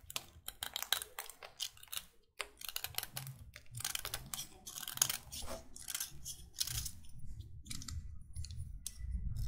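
A solid white chalk stick held between the fingers is repeatedly scraped with a utility knife blade, shaving off chalk until the stick is carved. Dry, bright, crisp scraping strokes come in quick bursts, some crunchy, over a soft low rumble.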